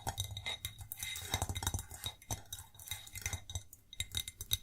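A white ceramic plate is tapped and scratched in a rapid run of light taps, with bright clinking and faint scraping between them. The clicks ring briefly around a high pitch near 3.8 kHz and die away almost at once, over a low steady hum.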